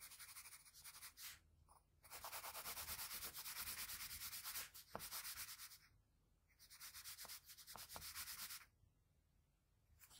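A graphite pencil held at a low angle rubs broad shading strokes around the lips and chin of a drawing on a flat sheet of white drawing paper. It makes a bright, hissy scratching in long bursts of rapid back-and-forth strokes, separated by short quiet pauses.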